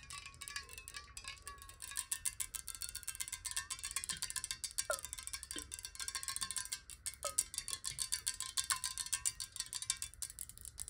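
Long nails tap quickly and continuously on a clear, square glass water bottle that is hollow and partly filled with water. The taps are bright, short clicks with almost no ring. Beneath them runs a faint sustained tone near 1 kHz that wavers in pitch, with occasional brief downward-sliding tones, all at a quiet level.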